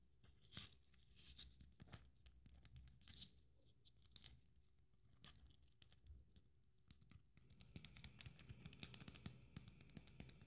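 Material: Beads.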